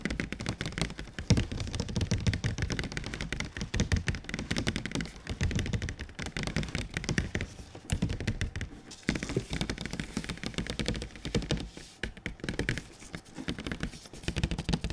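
Fingertips tap quickly and continuously on the flat face of a large, glossy printed cardboard console box held up in the air. The dense, rapid taps sound dull and hollow, with a low, boomy body and very short decay.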